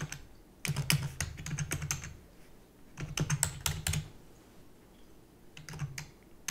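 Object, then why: Plastic computer keyboard. A full-size black plastic computer keyboard with hollow keys is typed on rapidly with long natural nails and fingertips. Three bursts of quick, dry, hollow clicking taps are separated by short quiet pauses, and a sharper, louder tap comes at the very end. The taps stop short with almost no ring.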